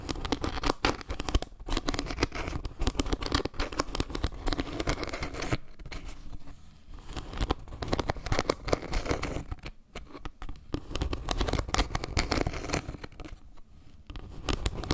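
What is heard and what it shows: Long painted nails tap and scratch across a round, flat wooden log-slice trivet held close to the mic. The result is a dense stream of short, dry taps and crackly scrapes with a heavy low-end thump. Brief pauses break up the sound around the six- and ten-second marks.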